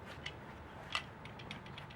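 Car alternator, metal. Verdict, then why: Loose. A faulty alternator from a 240SX is shaken, giving off light, sharp, high-pitched ticks and clicks from a loose part rattling inside over a quiet background hum. The loose internal rattle shows the alternator is bad, which is why the battery light keeps coming on.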